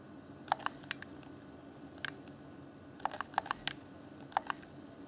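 A fingertip taps and clicks the buttons of a hand-sized, hollow, transparent plastic Xbox One Afterglow game controller. Sharp, dry plastic clicks with a mid-range body and bright edges come in small scattered clusters, each dying away almost instantly over a faint, steady background.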